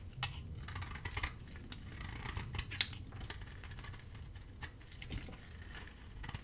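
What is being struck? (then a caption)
Bar of soap shaved with a metal blade. A hand-held bar of dry soap, red-coated with a white core, is shaved with a metal utility blade. Quiet, dry scraping runs throughout, with crisp, bright crackles and short clicks over a soft low rumble. The loudest snap comes near the middle.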